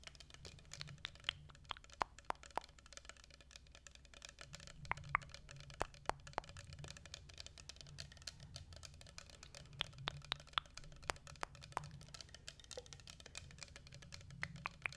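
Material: Glass.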